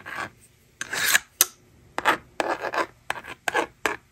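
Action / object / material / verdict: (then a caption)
scrape / plastic magnetic drawing board and plastic stylus / plastic / none. A yellow plastic stylus scratches strokes across the honeycomb screen of a small, hollow plastic magnetic toy drawing board held in the hand. Nine short, dry, raspy scrapes come in quick bursts with brief pauses, bright and hissy with almost no low end. Each stroke stops dead with no ring.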